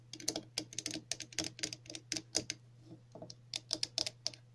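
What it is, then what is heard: Plastic cap tapped with fingernails. Long natural nails of both hands tap on the top of a hollow red plastic cap with a central hole and a textured rim. The result is quick, irregular bursts of bright, dry clicks that die away almost at once, with a short pause in the middle and a faint steady low hum underneath.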